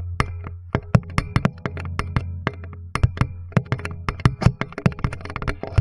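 Fingertips of both hands tap and drum on a flat, solid, light wooden board with screws, springs and a contact pickup mounted on it. The result is a quick, irregular run of short, dry, hollow knocks with a low woody thump around 117 Hz. Each knock dies almost instantly over a steady low hum.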